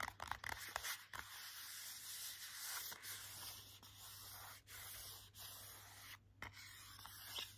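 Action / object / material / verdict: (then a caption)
scrape / hardcover board book with glossy cover / coated cardboard / none. Short nails scratch and rub the glossy front cover of a children's hardcover board book. A burst of sharp, quick scrapes opens the clip, then it settles into a steady, bright, airy rubbing that pauses briefly a few times. A faint low hum runs underneath throughout.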